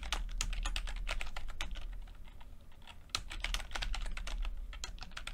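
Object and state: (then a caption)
Plastic computer keyboard being typed on. Fingertips of both hands type continuously on a full-size plastic computer keyboard with red and blue backlit keys and low-profile keycaps. The result is a steady stream of quick, bright plastic key taps over a low hum, with a short softer stretch before the typing picks up again.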